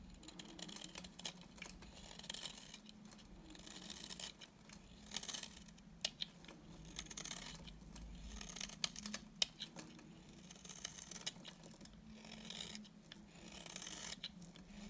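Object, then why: Bar of soap scraped with a knife blade. A solid, dry, cream-colored bar of soap is held in the hand and scraped and shaved with a utility knife blade, with flakes falling away. It makes a steady run of quiet, bright, crisp scratching and rasping strokes, with a faint low hum underneath.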